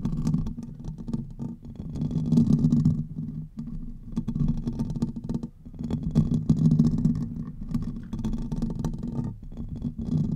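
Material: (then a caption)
Metal mesh. Fingernails on both hands scratch the hollow metal mesh grille of a large silver Blue Yeti-style microphone, producing a continuous low, dense rumbling scrape centered around 230 Hz. The scratching swells and fades in waves, with brief dips near 3.5 and 5.5 seconds, while faint, bright specks of mesh texture sit above it.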